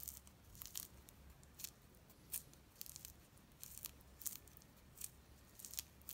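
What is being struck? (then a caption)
Mandarin orange peel. A small whole mandarin orange with a thin yellow-orange peel is held in the hands and peeled with the fingertips and nails, the peel tearing away from the white pith in strips. Quiet, bright, crisp tearing crackles come in short separate bursts over a low, steady background hum.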